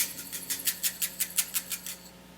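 A closed jar filled with rice, a homemade shaker, is shaken to show how its rice filling sounds different from another homemade maraca. About ten quick, evenly spaced shakes make a soft, bright, hissing rattle with almost no low end. The rattle fades out after the last shake.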